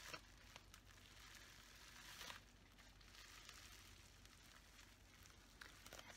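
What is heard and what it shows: A folded sheet of clear plastic bubble wrap is held in both hands while the fingers squeeze and crinkle it. A soft, continuous, bright crinkling and crackling plays throughout, broken by a few sharper snaps near the start, middle and end, over a faint low rumble.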